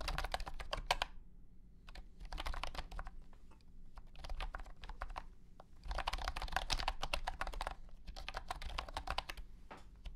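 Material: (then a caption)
Plastic. Fingertips type on a compact white and blue plastic honeycomb-key wireless keyboard with round hexagonal keycaps and a hollow body. Rapid bursts of light, clacky key presses come with short pauses between them. A low hum sits steadily underneath.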